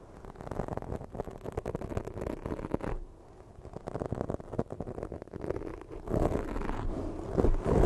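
Long fake nails quickly scratch a black foam microphone windscreen, making dense, muffled, low-heavy scraping and rubbing with rapid irregular strokes. The scratching dips quieter around the middle, then grows louder and fuller toward the end.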